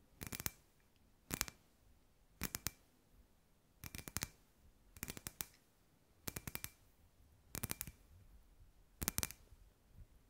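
Long white nails tap a hand-sized hollow clear glass sphere lamp with fairy lights inside. Eight quick bursts of rapid, bright clicking taps come at a steady pace, each with a faint glassy ping, separated by quiet pauses.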